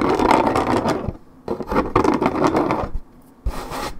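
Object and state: Paperboard juice carton.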